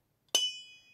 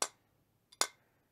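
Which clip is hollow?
The first.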